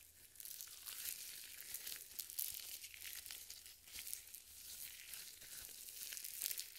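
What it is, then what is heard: Lotion-coated nitrile gloves. Purple nitrile gloves smeared with white lotion on both hands are rubbed and squeezed together in front of a microphone. The result is continuous wet, squelching crinkles, high and bright, with soft swells and sharper crackles throughout.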